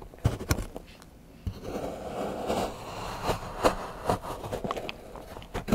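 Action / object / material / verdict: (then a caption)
scrape / milk chocolate bar scraped with a steel knife / chocolate / none. A large steel knife shaves and scrapes the edge of a solid milk chocolate bar into curls on a patterned board while fingertips hold the bar. Soft, dry scraping runs under a series of sharp, short ticks and crisp snaps, mostly low and midrange with little brightness.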